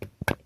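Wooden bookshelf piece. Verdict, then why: Solid. Knuckle knocks on pieces of a broken old bookshelf, made to show the wood is still good, strong and solid. The result is a few short, dull, low thuds with almost no ring, so the solid sound doesn't carry strongly from these pieces.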